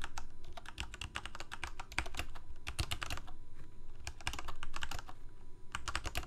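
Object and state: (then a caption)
Mechanical keyboard typing. Fingertips of both hands type rapidly on a full-size Corsair K68 backlit plastic mechanical keyboard with Cherry MX Red switches. Quick, irregular bursts of sharp, bright key clacks sit over a steady low hum, with brief pauses between runs of keystrokes.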